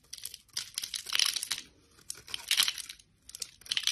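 A solid, elongated bar of translucent yellow soap, held between fingers with long lilac nails, is cut and scraped with a utility knife blade into thin curls. The blade makes crisp, bright crinkling and scraping sounds in three bursts separated by brief quiet gaps, with almost no low end.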